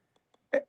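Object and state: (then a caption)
Acrylic block, not glass. A block of acrylic is tapped, giving a single short, dull, low-pitched tap that dies away quickly, preceded by two faint clicks. The low, deeper sound marks it as acrylic rather than glass.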